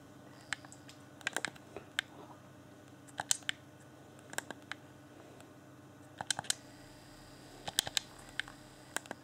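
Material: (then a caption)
Plastic. A fingertip clicks the buttons of a hand-sized, hollow, transparent plastic game controller with a blue LED lit. Sharp, bright plastic clicks come in loose clusters over a steady low hum, each one dying away almost at once.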